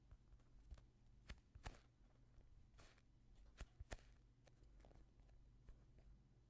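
A palm-sized, soft solid polyurethane foam squishy toy shaped like a yellow and green fruit is squeezed and rubbed with the fingertips of both hands close to the microphone. Quiet soft rubbing and crinkly squeaks are broken by several sharp, bright crackling snaps over a low, steady hum.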